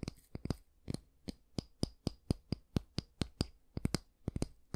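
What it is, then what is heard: Wooden hair brush back. Fingernails tap and click on the solid wooden back of a small oval wooden bristle hair brush, making 21 short, dry taps at an uneven pace. Each tap has a dull, low knock with a faint bright click on top and dies away almost at once.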